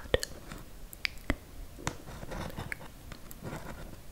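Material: Cardboard.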